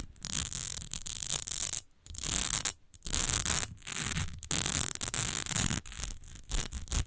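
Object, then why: Textured glass perfume bottle. Long almond-shaped nails scratch and tap the front and side edges of a partly filled, rectangular textured glass perfume bottle. Quick bursts of bright, hissy scratching alternate with brief silences, underpinned by soft low taps.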